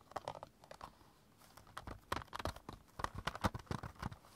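A small stack of about six clear hard plastic CD jewel cases is held in both hands while fingertips and short nails tap and scratch along the case edges and spines. The result is a quiet, uneven run of dry, crisp clicks and crinkly scrapes with soft low knocks underneath. Each tap dies away almost instantly.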